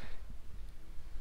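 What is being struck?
Nothing is struck.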